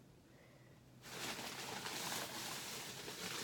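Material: Nothing is struck.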